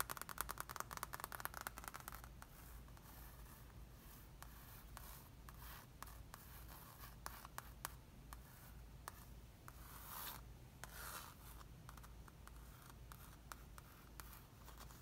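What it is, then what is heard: Foam play mat. Long red-painted fingernails tap and scratch the surface of a large, flat children's play mat, most likely soft foam, printed with a helicopter, an airplane and a runway and lying on the floor, while the fingertips rub it. A burst of fast, dry, clicky taps fills the first two seconds, then softer scratching and rubbing continue with scattered sharp ticks and brief brighter swishes. A steady low hum sits underneath throughout.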